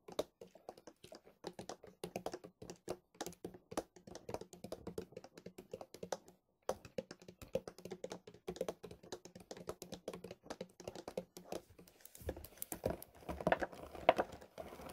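A large white plastic milk bottle is tapped rapidly with fingertips, first held sideways and then upright. The quick, uneven, soft taps give a hollow, mid-pitched plastic knock that dies away almost at once, with a brief pause near the middle. In the last few seconds the tapping turns busier and louder, with more brushing and handling noise.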